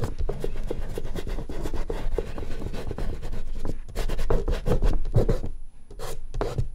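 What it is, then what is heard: Oil pastel rubbed on drawing paper. Fingertips firmly rub and blend oil pastel in one spot on a large, flat artist's paper sheet resting on a board. The result is a steady, scratchy rubbing with rapid, closely spaced strokes and a dull, low-heavy tone, dipping briefly near the end before resuming.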